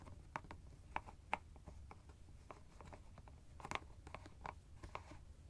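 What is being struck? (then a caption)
Plastic screw cap on a fabric ice bag. Fingertips and nails twist and tap the white plastic screw cap of a teal fabric ice bag held in the hand. The result is a quiet run of short, sharp clicks and crisp ticks with a bright edge, over a faint low rumble. A few taps stand out louder than the rest.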